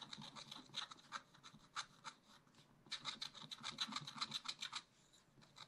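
A wooden stylus rapidly scratches hatching strokes onto a round tree drawn on black wax-coated scratch-art paper in a spiral-bound pad. Quick, bright, dry rasping strokes come in bursts, with a short lull partway through before another dense run of scratching.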